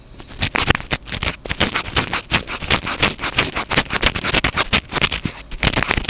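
Fingertips rapidly scratch the top of a small black foam windscreen on a stand-mounted microphone. The result is a dense, continuous run of fast, dry scratching and rustling bursts, bright and hissy with little low end, and each stroke stops sharply with no ring.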